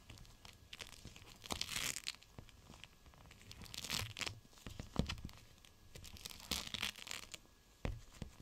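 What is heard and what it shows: A gel bead cold/hot pack, a clear plastic pouch full of beads, is squeezed and scrunched in one hand. It makes a bright, crinkly rustle with sharp crackles and tearing-like swells that rise and fade in waves across the clip.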